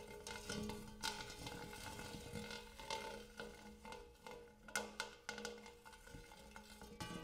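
Fingernails scratch and tap the dimpled surface and rim of a large, empty, hammered brass-colored metal bowl. Quiet scraping is broken by sharp, bright taps that die away quickly. A faint metallic ring with a steady low hum lingers underneath.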